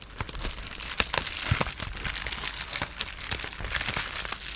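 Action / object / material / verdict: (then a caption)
scrape / polyethylene bubble wrap sheet / plastic / none. Fingertips and short nails rub, scratch and crinkle the surface of a sheet of clear polyethylene bubble wrap with air-filled bubbles. The result is a dense, bright crinkling texture scattered with quick, sharp crackles and ticks that die away almost instantly, with a few soft low thuds underneath.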